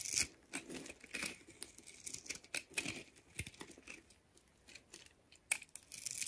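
A solid red and white striped bar of soap, held in one hand and pre-scored into a grid, has its end cut and scraped into crumbling cubes with a blue-handled utility knife. The sound is a series of dry, bright crunches and scraping crackles, with sharp clicks as pieces break away and quiet pauses between strokes.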